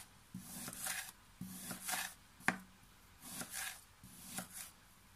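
A pink plastic knife held in one hand repeatedly slices and scrapes through a flat mound of pink kinetic sand on a table while the other hand steadies it. Each pass gives a soft, gritty, crunching scrape with a faint low hum, rising into bright granular hiss before falling back to quiet between cuts.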